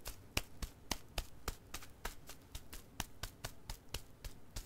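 A single crumpled, striped Goodnites XL disposable pull-up diaper, hollow and unused with a crinkly plastic outer layer, lies on carpet and is patted and tapped with flat fingertips. Seventeen short, sharp taps each give a quick bright crinkle over a soft low thump, separated by brief rustling.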